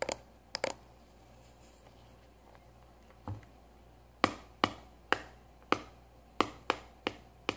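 A small, hollow cylindrical kraft cardboard tube pencil box with a lid is tapped with long nails and fingertips. A few quick taps open the clip, followed by a quiet pause with one soft dull thump. Then come eight sharp, dry, bright taps that stop instantly with no ring.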